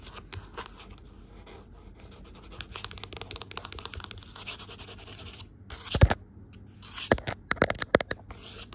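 Long nails scratch lines into the fabric cover of a navy cloth-bound hardcover book lying flat, as a hand passes close to the camera. A quiet, dense run of dry, rasping scratches builds gradually, with a few louder, sharper strokes near the end.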